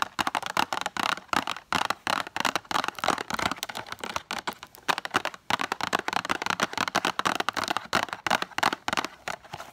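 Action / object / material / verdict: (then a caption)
tap / small cardboard box with a plastic window / cardboard / none. Long acrylic nails tap and scratch rapidly across a small, full rectangular cardboard box of BIC pens with a plastic window. The result is a dense run of short, dry clicks and scratchy scrapes, papery and mid-to-bright in tone with almost no low end. Each tap dies away instantly.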